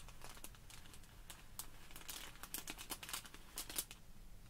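Long pink nails and fingertips press, rub and scratch a small clear plastic bag full of tiny white polystyrene foam balls lying on a wooden table. The quiet clip is a dense stream of bright, crisp crinkles and scratchy ticks over a faint low hum, with a few sharper crackles standing out.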